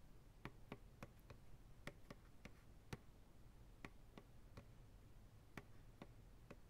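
Slow, rhythmic fingertip taps land on the sides of a large, white, hollow, empty plastic ice cream pail turned upside down. About fourteen short, dry, hollow taps each pair a soft low thump with a bright click, and none of them ring. They sit quietly over a steady low background rumble.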